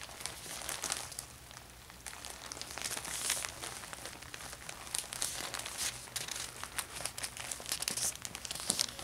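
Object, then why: Thin plastic shopping bag. A thin, empty orange plastic shopping bag is folded and unfolded in the hands by fingers with painted nails. It gives a steady, bright crinkling with quick crackly bursts throughout and a faint low hum underneath.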